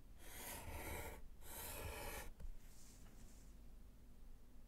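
A gloved hand writes with white chalk on a small, flat, solid wood-framed slate chalkboard with smudged chalk on its surface. Two long, breathy scratching strokes drag across the slate, followed by a faint tap and a quiet tail with light high hiss.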